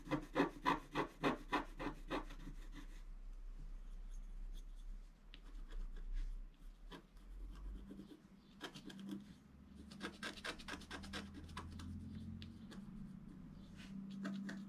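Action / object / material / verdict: scrape / coated scratch art paper scratched with a wooden stylus / coated paper / none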